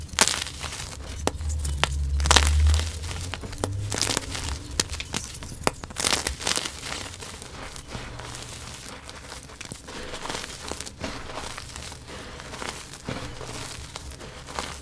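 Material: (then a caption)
Chalk. Both hands with painted nails crumble, squeeze and scoop a heap of dry purple and yellow crushed gym chalk (magnesium carbonate) crumbs and loose powder in a white box. Dense, irregular crunching and crinkling with sharp bright crackles rises over a soft low rumble, loudest in the first few seconds. It then settles into steady, quieter powdery rustling.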